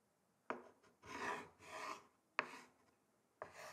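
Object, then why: Wooden chopping board and thin wooden sticks. The tips of two thin wooden sticks rub and scratch across the grain of a large, flat, solid wooden chopping board. Three sharp, dry taps are spaced between two longer rasping scrapes with a bright, hissy texture. Each tap dies away almost instantly.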